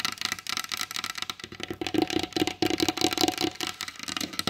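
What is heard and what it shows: Long blue acrylic nail tips rapidly tap the glossy varnished top of a large solid wooden table. The quick, clicky taps are short and dry with bright high edges and a faint wooden tone near 320 Hz, and they grow louder and denser in the middle of the run before easing off.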